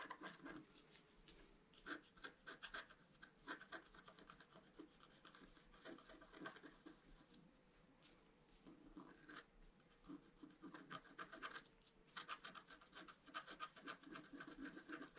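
A pointed wooden stylus scratches a flat A4-size scratch-art card, black coating over a colored foil layer, lying on a table. Quick, irregular rasping strokes come in bursts, with a quieter stretch in the middle before a denser run of scratches near the end. The scratches sound dry and bright.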